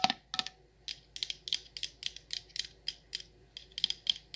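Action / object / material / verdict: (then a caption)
tap / glass candle jar with metal lid / glass, metal / none. Long nails tap the sides and copper metal lid of a patterned candle jar in about 18 quick, irregular taps. Each tap is a bright, sharp click that dies away almost at once, with nearly all its energy in the high range and little low end.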